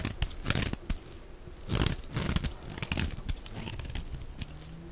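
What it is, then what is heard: Bar of dry soap shaved with a blade. A hand-sized, solid rectangular bar of dry white soap is held in the hand while a utility knife blade scrapes and shaves thin flakes off its edges. The scratching, cutting strokes come in repeated dry, crinkly bursts. Each burst has a bright, airy top and a soft low thud beneath it.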